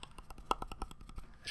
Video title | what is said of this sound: A Year of Change: A Weight Loss Vlog - Day 053 - iSnack | that is actually the sound of the Apple it sounds like it's made of wood which is really weird